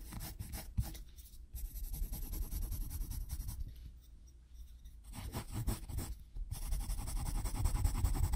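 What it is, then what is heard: Pencil hatching on sketchbook paper. A wooden pencil rapidly scratches back and forth across a page of a spiral-bound paper sketchbook while hatching, making dense, gritty scratching strokes with bright hiss. The scratching comes in bursts, thinning out briefly near the middle and stopping for a moment just before the last stretch, then returning stronger at the end.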